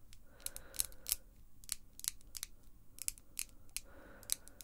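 Long pink acrylic false nails click and tap their tips together near the face, with no other object involved. The clip is a quick, irregular series of sharp, bright clicks that die away almost instantly, over a faint low background rumble.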